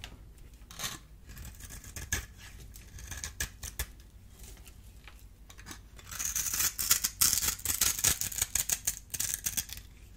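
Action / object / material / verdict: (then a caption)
scrape / bar of soap scored with a small metal blade / soap / none. A solid, dry, oval yellow soap bar held in the hand is scored in a grid with a small metal blade, then the cubes are scraped off. Quiet, scattered crisp cuts come first. Around halfway the sound turns into a louder, denser run of bright, crackly scraping and crumbling that fades back down at the end.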